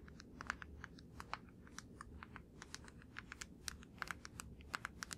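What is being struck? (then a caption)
Plastic deodorant stick. A fingertip and nail tap on the surface of a blue plastic deodorant stick held up in the air. The result is a rapid, irregular run of short, dry, clicky taps with bright tops, each dying away almost at once, over a faint low background rumble.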